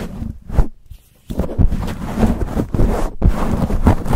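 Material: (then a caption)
Foam. Fingertips and nails scratch and grip a black foam windscreen on a silver condenser microphone, fast and hard. The result is dense, muffled, low-heavy rustling and crackling with thumpy bursts. It drops to near-silence for a moment in the first second, then resumes continuously.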